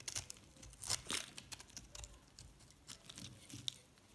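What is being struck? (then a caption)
Recycled soap bar scraped with a metal blade. A metal box-cutter blade scrapes and chips a yellow and white solid recycled soap bar. It makes a quiet, bright series of quick dry crunches and crackly scrapes, with short clustered bursts and almost no low end. Flakes of soap come away with each pass.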